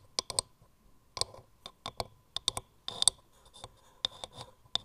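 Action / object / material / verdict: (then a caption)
tap / turned wooden mortar / wood / none. Long nails tap and scratch quickly on the grooved wood of a hollow turned wooden mortar gripped in both hands. Sharp, bright clicks come in quick, uneven bursts with short scratchy rasps between them, and each tap dies almost instantly with no ring.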